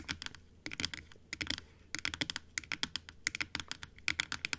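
Long acrylic nails tap quickly on the top and teeth of a large, hollow plastic dental model that stands closed on a table. The result is bursts of sharp, bright clicks with almost no low end and no ring, separated by brief pauses.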